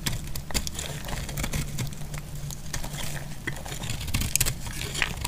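A utility knife blade scrapes and cuts into the surface of a solid cream dry laundry soap bar held in hand. Rapid dry, crinkly scratches and short clicks with a bright edge sit over a steady low rumble, with a few sharper cuts near the end.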